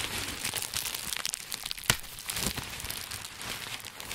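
A large sheet of green plastic bubble wrap, bunched into a dome and held in both hands, has its air-filled bubbles squeezed, pressed and crinkled by fingertips. A steady, bright crinkling and crackling fills the clip, with one sharper snap just before the two-second mark.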